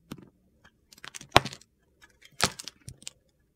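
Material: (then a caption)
Soap. A metal utility knife blade scrapes and scores a solid green Palmolive soap bar held in the hand. The result is a series of short, crisp, gritty scraping strokes at an irregular pace, with bright crunchy detail and little low end.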